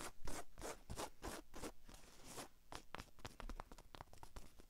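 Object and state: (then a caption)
Fabric baseball cap scratched and tapped. Long acrylic nails scratch and tap the brim and holographic sticker of a hollow white cotton baseball cap held in one hand. Broad, bright scratching strokes come first, then shift into quicker, crisp clicking taps. The sound is soft and dry, with very little ring after each touch.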